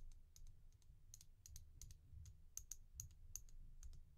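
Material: Resin.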